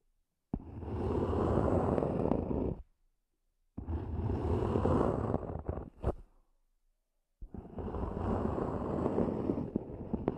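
Long glossy nails tap and scratch the top lid of a small, hollow, black zippered EVA hard-shell earphone case lying on a fuzzy cloth. The result is three dense bursts of rapid, hollow scratchy tapping with a full low-mid body and a bright, airy edge. Short silences separate the bursts, and a single sharp tap closes the second one.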